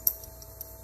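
A fuse-type component with two terminals, pulled from a cooling-fan circuit and showing no continuity, is tapped and gives off faint, bright ticking clicks. There are a few light hits, with the loudest at the start. The rattle means something has come loose inside the component, so it is faulty.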